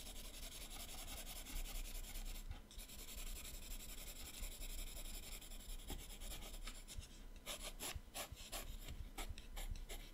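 A teal colored pencil shades the right page of an open paper sketchbook with fast back-and-forth strokes, giving a steady, soft scratchy rubbing over a low, continuous rumble. Toward the end the strokes become sharper and more separate, with bright, quick scrapes.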